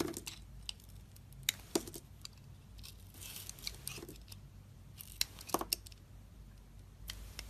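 A metal utility-knife blade carves and slices pieces off a solid pink soap bar with a purple edge layer, held in the fingers of a hand with red nails. Quiet, crisp scraping runs throughout, broken by sharp, bright clicks as the blade cuts through. The sounds are short and dry, with almost no ring.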